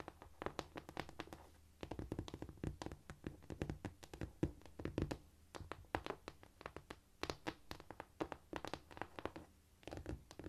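Long nail tips and fingertips, palms up, tap rapidly across a flat, solid cork floor. The result is a dense run of short, dry clicks and soft low thuds that die away almost instantly, with brief quieter gaps between the bursts.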